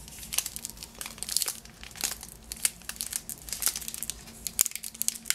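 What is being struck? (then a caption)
Cellophane-wrapped package. Fingers crinkle and scratch the crinkly green cellophane wrapped around a yellow lemon-shaped Positano item tied with a ribbon. Dense, bright crackling pops and rustles come in quick bursts, each snapping off almost instantly over a faint steady low hum.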